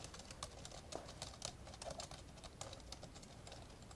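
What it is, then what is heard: Plastic laptop keyboard being typed on. Fingertips of both hands type steadily on the plastic keys of an open, old dark grey plastic laptop. The result is a quick, continuous stream of light, bright clicking taps, each dying away almost at once, over a faint low hum.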